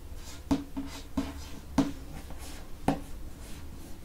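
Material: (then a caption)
Cardboard and paper. A fingernail traces and scratches across the back cover of a dark hardcover paper book. Quiet, soft rubbing is broken by several short, sharp scratch accents that die away almost at once, with a low-to-mid, papery tone.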